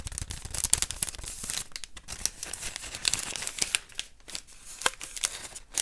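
Fingertips and nails rub and scratch along the length of a long, hollow beige cardboard tube held in both hands. It makes a dry, bright, scratchy rasp, broken by quick crisp ticks and brief pauses, with very little low end.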